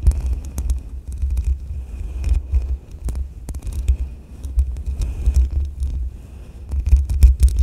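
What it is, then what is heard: Metal mesh microphone grille. A makeup brush sweeps across the side of the hollow metal mesh grille on a black USB microphone while a hand rests on the grille. The result is a deep, throbbing low rumble near 62 Hz, broken by scattered bright scratchy crackles and sharp ticks.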